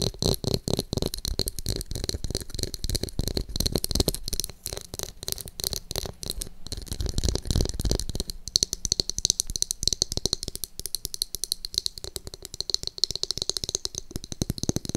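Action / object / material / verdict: tap / plastic hairbrush with glitter-filled back / plastic / none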